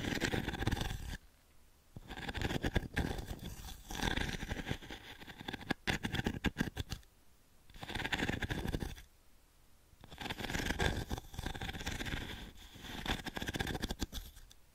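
Long nails scratch across the pins of a small octagonal wooden-framed pin brush held in the palm. Dense, bristly scratching comes in several bursts separated by short quiet pauses, with a low rumbling body under bright, prickly detail.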